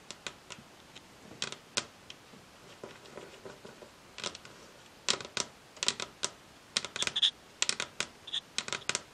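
Long acrylic nails tap rapidly with both hands on a solid, glossy varnished wooden tabletop. The sound is a series of sharp, bright clicks that die away almost at once. Soft, sparse taps at the start give way to louder, quicker clusters toward the end.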